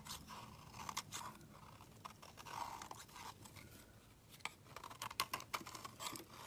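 The edge of a solid white rectangular soap bar is shaved with a utility knife blade into fine curls. Quiet, crisp scraping and crunching strokes come in irregular bursts, with a bright hiss and a tone near 1 kHz, growing sharper and more clipped toward the end.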